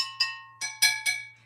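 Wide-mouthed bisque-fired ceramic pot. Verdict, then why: Sound. A wide-mouthed bisque-fired ceramic pot is tapped four times, each tap giving a bright, ringing tone near 2.3 kHz that fades quickly, over a faint low hum. The pot is sound and not cracked; its pitch differs because of its bigger mouth.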